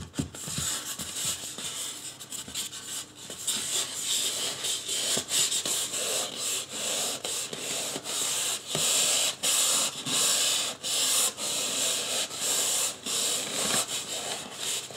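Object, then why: Polystyrene foam mannequin head. Fingertips rub and scratch the back and top of a life-size white polystyrene foam mannequin head. The result is a bright, dry, hissy scratching that comes in repeated strokes, growing steadier and louder in the second half.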